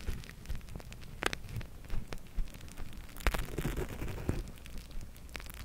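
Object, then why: Plastic eye mask filled with gel beads. A flexible clear plastic eye mask filled with purple gel beads is held in both hands close to the mic and squeezed and rubbed with long-nailed fingertips. The result is a soft, low, crackling rustle, like light rain, broken by sharp clicks and a brief squishy burst of bead movement.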